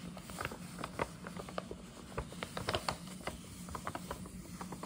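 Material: Paper.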